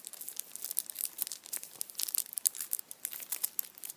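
A hand-sized Kinder chocolate Easter bunny wrapped in printed aluminium foil stands upright while the foil is crinkled and scratched with fingertips and nails. The result is a quiet, continuous stream of sharp, bright crackles and crinkles, with no low end at all.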